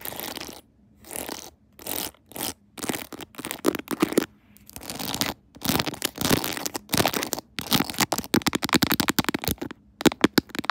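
Long nails tap and scratch the edges and decorations of a clear plastic phone case set with rhinestones and a pearl Hello Kitty, on a phone mounted on a tripod. Bursts of dry, rapid clicking and scratchy rasping with bright, crisp tops alternate with short quiet pauses, and each click dies away almost instantly.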